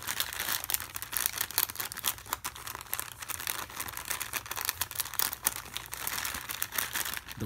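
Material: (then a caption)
Plastic. A pen tip scratches across a small, full, sealed plastic Maggi instant noodle packet held in one hand. The result is a continuous stream of bright, crinkly, rasping scrapes with many quick overlapping bursts over a faint low hum.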